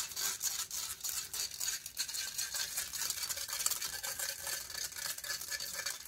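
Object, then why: Metal mesh microphone grille. Long fingernails scratch rapidly over the hollow metal mesh grille of a silver condenser microphone held in hand. The result is a dense, bright, raspy scraping with quick rhythmic strokes and almost no low end, continuing steadily for about six seconds.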